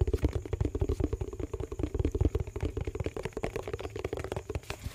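A yellow plastic dishwash-paste tub with a lid is tapped and scratched with fingertips and nails. Roughly thirty quick, dull, low-pitched taps come in a steady, uneven patter, with a faint scratchy rustle between them. The hollow thuds have a light ring and fade almost instantly.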